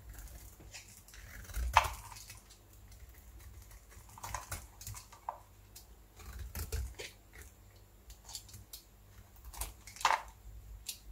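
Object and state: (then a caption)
Dry bar soap. A metal blade scrapes a solid, dry, beige bar of soap held in one hand, lifting brittle flakes that crack and chip off the surface. Quiet, dry scraping and crackling are broken by sharp, bright snaps, the loudest near the start and another near the end, with a low background rumble throughout.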